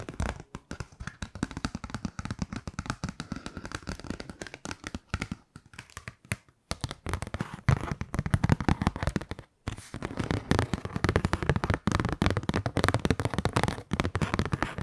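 Long nails tap and scratch a kraft-paper Christmas card held close in front of the mic, making rapid, dry, crisp clicks and rustling scrapes. The sound is full-bodied and weighted toward the low end, pausing briefly twice before growing busier and louder toward the end.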